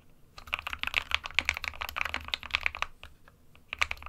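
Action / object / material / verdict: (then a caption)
tap / plastic mechanical keyboard / plastic / none. An SK61 small 60% mechanical keyboard with a white plastic case and plastic keycaps sits on a printed desk mat while both hands type on the keys with their fingertips. Rapid, bright, sharp key taps clatter with no ring, centered around 2.4 kHz. The typing thins into a short lull near the end, then picks up again with a few final taps.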